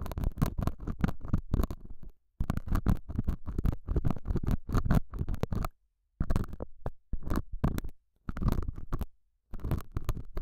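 A metal dental scaler hook scratches the surface of a small, solid, square beige felt pad mounted over a small lavalier mic. The result is a dense, muffled, low-heavy scratching and rustling in rapid strokes, delivered in several bursts separated by short silences.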